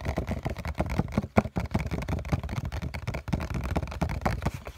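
A printed COCON cardboard tissue box, hollow with tissues inside, is held in one hand and tapped with the fingertips on its flat bottom face. The result is a rapid, continuous patter of dull, hollow taps that are mostly low and muffled, with each tap dying away almost at once.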